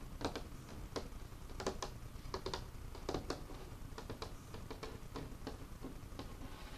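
Fingertips tap on the surface of an old, solid, dark, worn wooden craft table with paint spots on it. A quiet, irregular series of short, dull knocks sounds, each with a bright clicky edge that dies away almost at once. A low background rumble lies underneath.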